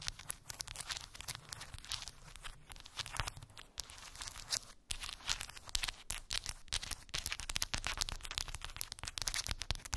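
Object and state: Wooden bead board tapped and scratched.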